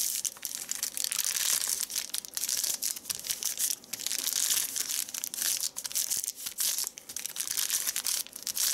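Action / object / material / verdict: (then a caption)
scrape / thin paper sheet / paper / none. A thin white paper sheet is folded and crushed into a smaller wad by fingertips on a leather seat. The sound is a dense, continuous run of bright crinkling and crackling with almost no low end, swelling and dipping in loudness as the paper is squeezed.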